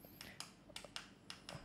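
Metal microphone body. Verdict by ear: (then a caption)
Hollow. Six light taps on the metal body of a Comica STA-U1 USB condenser microphone produce short, bright clicks with a faint high ring. The body sounds hollow rather than solid metal, with plenty of empty space inside that makes it light.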